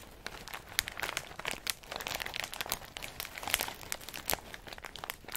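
A medium plastic snack bag full of in-shell pistachios is held in the hand and squeezed and crinkled by fingers and thumb, the shells rubbing against each other inside. The result is a steady stream of bright, dry crinkles and small crunching clicks, mostly high in pitch with very little low end, each crackle stopping almost instantly.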